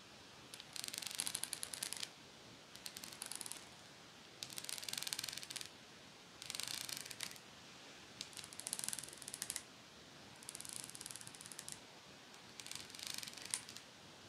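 Long painted fake nails scratch and strum across the fine metal teeth of a small pet grooming comb with a teal plastic handle, held in one hand. About seven bursts of rapid, bright, raspy ticking come in roughly one-second runs, separated by short near-silent pauses, with almost no low end.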